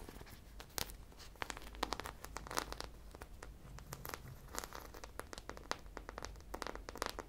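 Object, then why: Foam squishy toy coated in plastic sprinkle beads. A hand-sized foam squishy popsicle toy coated in multicolored sprinkle beads is held in both hands and scratched and tapped with long painted nails. The result is dense, crinkly clicks with sharp, bright transient peaks over a steady low hum.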